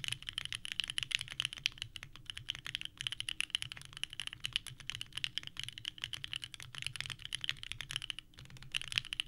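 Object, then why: Mechanical keyboard with plastic ABS keycaps. Both hands type continuously with the fingertips on a small 65% mechanical keyboard with a purple case and white ABS keycaps, resting on a desk mat. The result is a fast, steady stream of short, clacky key presses that are bright and dry, with a strong peak near 3 kHz and almost no ring.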